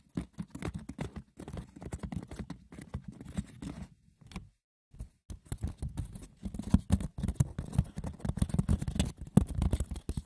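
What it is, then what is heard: Wicker basket, scratched and tapped. Fingers scratch and tap the textured, woven surface of a wicker basket, with no talking. A dense patter of light, dry clicks and rough scratches is heard, with a brief pause near the middle before it resumes more busily and a bit louder.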